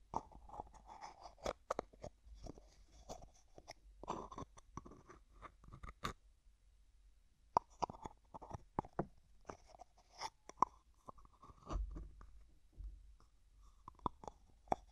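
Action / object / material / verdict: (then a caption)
scrape / plastic jar with plastic screw lid / plastic / none. Fingertips repeatedly twist the white plastic screw lid of a small, hollow, translucent pink plastic jar. The lid gives dense bursts of crunchy thread clicks and sharp snaps centered in the midrange near 1 kHz, with faint high-frequency ticks. The clicks stop abruptly for about a second at around 6 seconds before the twisting resumes.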